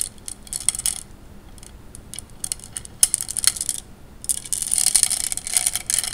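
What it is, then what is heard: Glass gems clinking in water. Fingers push and rub glass gems together in a wet tray of water, producing bright, high clinks. The short, quick-decaying taps come in uneven clusters and grow denser and more continuous toward the end.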